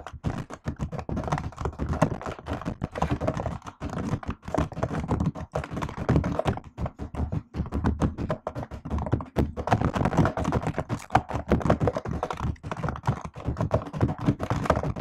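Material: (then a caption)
Plastic. Fast typing with fingertips and long nails on a silver laptop keyboard with black plastic keys set in an aluminium body. The result is a dense, continuous run of short, dull tapping clicks and thunks. Each keystroke dies away almost instantly, with most of the energy low and very little brightness.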